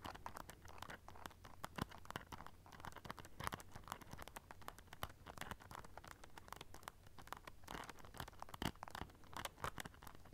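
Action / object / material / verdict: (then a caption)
scrape / studded clutch pouch with rhinestones / rhinestones / none. Long nails scratch along a small black rhinestone-studded clutch pouch covered in silver studs, producing a dense, continuous stream of quick, dry clicking and scratching. The scratches come in bursts of crisp ticks over a faint steady low hum, staying soft and close throughout.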